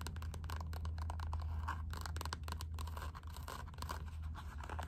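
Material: Rubber.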